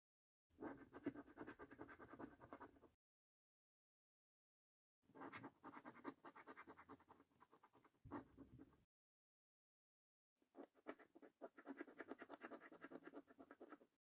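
A coin gripped in the fingers rapidly scratches the coating off a thin, flat paper lottery scratch card resting on a wooden table. Three bursts of dense, gritty scraping are heard, separated by short silences, with the strokes too fast to count individually and most of the energy in the low-mid to mid range.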